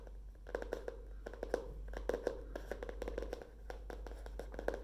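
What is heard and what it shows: Long fingernails tap rapidly on the cardboard cover and page edges of a tilted hardcover spiral notebook with a wire spiral. Each tap is a short, dry click with a mid-pitched knock around 490 Hz and almost no ring. The taps come in an uneven stream over a steady low hum.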